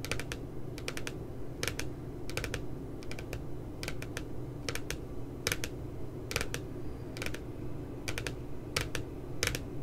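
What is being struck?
Spiral notebook with glossy paper cover.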